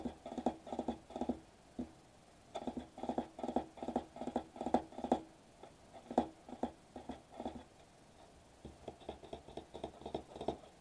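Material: Metallized plastic.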